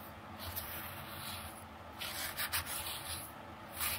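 A long dark-painted fingernail drags and scratches through fine red coloured sand in a small round clear plastic dish. The result is a quiet, grainy, bright scraping hiss that swells into louder rough bursts partway through and again near the end.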